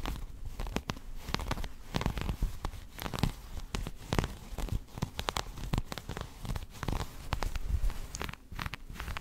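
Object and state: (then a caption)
Embroidered fabric coat being scratched. Long nails and fingertips of both hands scratch and rub the dense colored thread embroidery on the chest of a traditional black chapan coat being worn. The result is a continuous, close run of dry rasping and crinkling scrapes, with many quick, short bursts that are mostly low-heavy, and a few sharp bright streaks.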